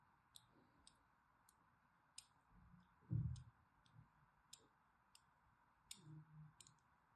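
A thin blade scores crosshatch lines over the face and corner of a solid mint-green embossed soap bar held in hand. Twelve short, sharp, bright clicks ring out one at a time over a quiet background, with soft low thuds in between.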